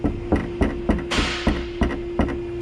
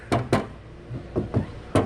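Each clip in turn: First: loose rattling part near the exhaust. Second: underbody cover vibrating when tapped.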